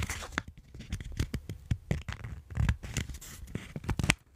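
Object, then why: Folded paper sheets. A small stack of folded white paper is handled in front of a microphone, with fingertips and thumbs pressing, rubbing and folding the layers. It makes soft crinkling and rubbing sounds with short, bright crackles over low, dull thumps of handling.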